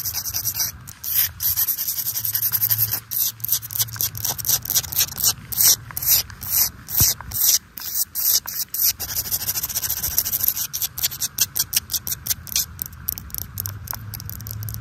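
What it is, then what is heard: Solid wet garden rock. Long nails scratch and tap across the surface of a large, flat, wet garden boulder set in mulch, and the rock sounds solid. Dozens of quick, bright, dry scratches and taps come in uneven bursts with almost no ring, over a steady high hiss that may be rain in the background.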